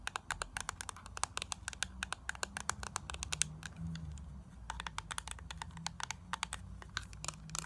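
A small, closed, hollow black plastic Avon makeup compact is held in both hands while long nails tap and scratch its surface. Quick, sharp clicks with bright high ticks come in irregular bursts over a low, steady rumble, and each tap dies away almost instantly.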